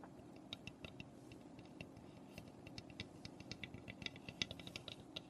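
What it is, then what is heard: Unfinished wooden birdhouse. Long nails tap and scratch across the roof of a small, hollow, unfinished birdhouse made of raw pine. Quiet, sharp, bright clicks come in an uneven run, each dying away almost at once over a soft, steady low hiss.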